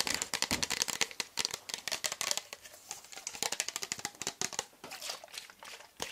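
A hand-sized, hollow, translucent frosted plastic pump bottle with a teal pump cap, empty or nearly empty, is held in the hands and tapped and scratched with fingertips and nails. A rapid, uneven run of around thirty crisp, bright clicks and scratchy ticks plays out, each dying away almost instantly with almost no low end.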